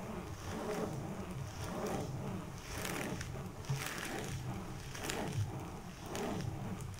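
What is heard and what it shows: Fingers rub, flip and crinkle the plastic-covered sleeve pages of a thick photo album. Soft, broadband swishes and crackles recur at an uneven pace over a steady low rumble.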